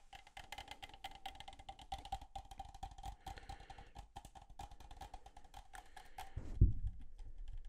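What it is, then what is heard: Aluminum soda can. A hollow red and black Coca-Cola aluminum can is held up and tapped rapidly on its sides with fingertips and nails. The taps come as a dense stream of short, dry clicks over a faint steady ringing tone, with an unknown fill level. Near the end, the tapping stops and a single louder, low thump follows.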